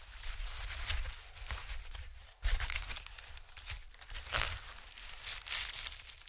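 A thin sheet of white honeycomb-cut packing paper is stretched, waved, then flattened and rubbed with fingertips on a dark surface. It gives a continuous dry crinkling and rustling with bright papery texture over a low rumble, briefly dropping almost silent near the middle before a louder burst of crinkling resumes.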